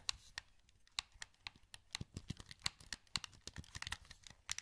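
A wired, hollow black plastic PS2 controller is held in both hands while fingertips click its buttons and joysticks. About two dozen short, dry, bright plastic clicks and taps come in an irregular run, each dying away instantly, over a faint low background.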